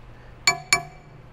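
Two taps on a new MetalCloak adjustable rear track bar made of solid 4130 chromoly give two bright, clinking metallic rings with a main pitch around 2.3 kHz that fade quickly. The solid bar rings clean, unlike the hollow-sounding factory bar.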